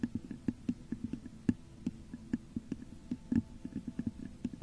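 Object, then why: Textured glass vase. Long nails scratch and tap the top of a hollow, textured clear glass vase set upside down over a microphone. About twenty short, dull taps ring with a hollow low resonance, over a soft scratching rustle between them.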